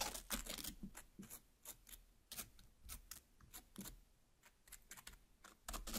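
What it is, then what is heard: Cut watermelon half tapped with long nails. Long black nails tap on and pierce into the red flesh of a large cut watermelon half. The result is a quiet, irregular run of short, bright, crisp taps and wet crunchy stabs with soft low thuds beneath. Each sound dies away almost at once.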